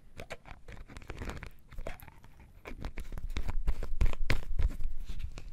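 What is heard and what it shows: A full bottle of dark sauce with a red plastic lid is held in one hand while the fingers of the other hand tap quickly on the lid. The result is a steady patter of short, dry plastic taps with low thumps and some brighter clicks. The taps grow louder in the second half.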